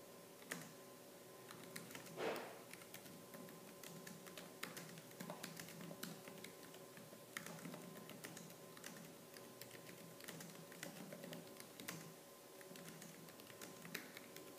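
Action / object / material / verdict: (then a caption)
tap / plastic laptop keyboard / plastic / none. Fingertips with purple-painted nails type fast and hard on the black plastic keys of a laptop keyboard. A dense stream of sharp, bright clicks and clacks runs over a faint steady tonal hum, with one louder thump near the start.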